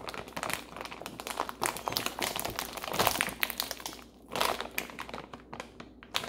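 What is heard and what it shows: Long painted nails scratch and squeeze a medium plastic bag full of frozen broccoli florets, held upright in both hands, while a second bag lies untouched beside it. Dense, bright crinkling and crunching crackles continue throughout, with a brief quieter lull near the four-second mark before the crisp rustling swells again.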